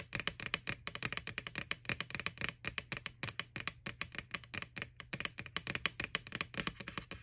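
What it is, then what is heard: Plastic candy bucket tapped with nails. Long nails tap rapidly on the side wall of a small, hollow white plastic McDonald's Boo Bucket ghost Halloween candy bucket lying on its side, right over its printed face. About 49 crisp, bright, hollow clicks come in a fast, uneven stream, each dying away almost instantly, with a plastic ring centered around 2.4 kHz.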